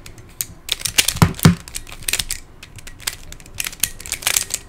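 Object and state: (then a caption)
Plastic Pyraminx puzzle being twisted. Fingertips twist the layers of a hand-sized, black plastic Pyraminx pyramid puzzle with coloured stickers and a hollow mechanism. It gives off a rapid, uneven run of dry, bright plastic clicks and crunchy scrapes. Two heavier snaps near the middle carry a low thump, and each click dies away almost at once.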